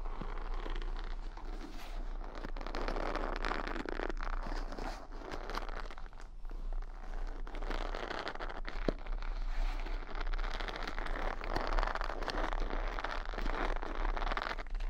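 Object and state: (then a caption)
Wooden hair brush bristles scratched. Fingertips and nails rub and flick the bristles of a wooden paddle brush, bristle side toward the mic. The result is a steady, dense stream of crunchy, crackling scratches with soft rustling, continuous for the whole clip over a faint low hum.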